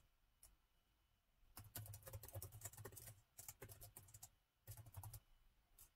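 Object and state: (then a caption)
Plastic laptop keyboard. Fingertips of both hands type on the black plastic keys of a gold laptop's plastic keyboard. Quick, bright clicky taps with a soft low thump come in irregular bursts, separated by short pauses and a few isolated single key presses. The clatter stays fairly quiet and dry, each tap dying away almost instantly.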